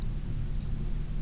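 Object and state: Nothing is struck.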